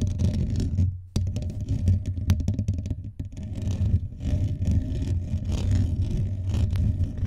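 Fingertips and nails of both hands scratch fast across the rounded, hollow metal mesh grille of a blue USB condenser microphone on a stand. The result is a dense, boomy, low rumbling scrape with rapid crackling ticks, a brief dip in loudness near the one-second mark before the scratching resumes just as strongly.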